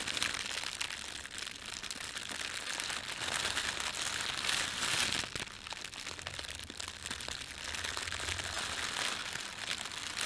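Fingertips press, rub and crumple the thin film of an empty, red printed plastic bread bag. The result is a dense, continuous, bright crinkling with rapid, irregular crackles and little low end, holding a steady level throughout.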